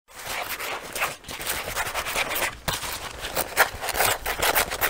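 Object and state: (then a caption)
Leather jacket being scratched. Fingertips and short nails scratch and rub the leather on the chest and lapels of a worn black leather jacket, a soft hollow garment. The result is a steady, dry, bright scratching hiss with little low end, broken by brief pauses near 1.2 and 2.6 seconds, then continuing in quick rustling strokes.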